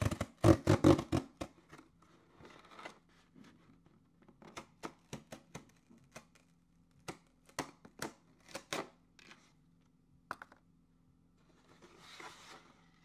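A medium hollow corrugated cardboard shipping box with a label is slit and torn open with a thin orange-handled tool held in the hand. Sharp scraping and tearing bursts come in an uneven run, loudest at the start, over a faint steady low hum. The clip ends in a softer, hissy rustle.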